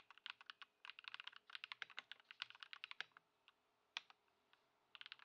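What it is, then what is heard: Plastic mechanical keyboard. Fingertips of both hands type on a compact white Ducky One 2 SF mechanical keyboard with plastic keycaps, resting on a wooden desk, modded with Poron foam and swapped to Lumia Matcha switches. About thirty short, bright, clacky keystrokes come in quick bursts, then thin out to a few scattered taps before a final quick run. Each stroke dies away almost instantly with very little low end.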